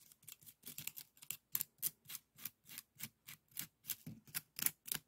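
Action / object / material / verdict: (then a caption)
scrape / woven bamboo scoop / bamboo / none. A small, hollow, empty woven bamboo bokjori scoop, held by the fingertips, is scratched along its weave with a bamboo stick. About 19 short, dry, raspy scratching strokes come in a loose rhythm, bright and crisp with little low end. Each stroke stops dead, with no ring.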